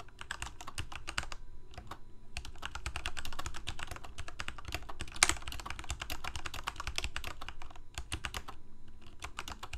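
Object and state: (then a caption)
Plastic mechanical keyboard. Fast typing with the fingertips of both hands on a full-size black plastic Corsair mechanical keyboard with lit keycaps. A dense stream of sharp, bright key clicks runs almost without pause over a low, steady hum, with short gaps near the start and end.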